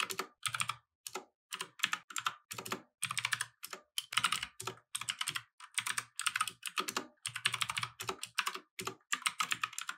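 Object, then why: Mechanical keyboard with plastic keycaps. Both hands type continuously with their fingertips on a compact mechanical keyboard with plastic keycaps, resting on a wooden desk. Bright, dry clacks come in quick bursts separated by brief pauses, each keystroke snapping short with almost no low end.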